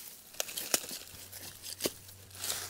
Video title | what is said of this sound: 82 FORGOTTEN GRAVES FOUND! Mahone Ingram Cemetery Vandalism Repair Day 5 | I can hear that there's something pretty far down there